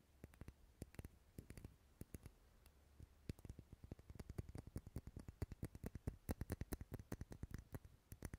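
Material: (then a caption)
Wax. Long nails tap and scratch the side of a lit, dark red solid wax pillar candle. Quiet, sharp clicks with bright edges come sparse and irregular at first, then grow denser and louder after about three seconds, over a faint low hum.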